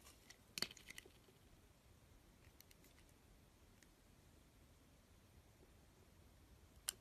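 A utility blade slices strips of green and yellow coating off a solid, rounded bar of cream soap held in the hand. A cluster of crisp, bright scraping cuts comes near the start, followed by a long, nearly silent stretch. One more sharp, high cut lands just before the end.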